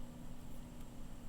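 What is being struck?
Nothing is struck.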